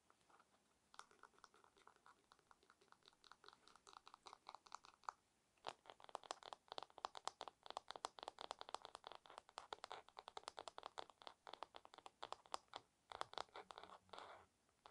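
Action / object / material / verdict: tap / wooden paddle hairbrush back / wood / none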